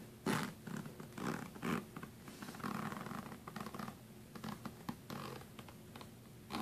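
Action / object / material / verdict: scrape / fabric suitcase zipper with metal pull / fabric / none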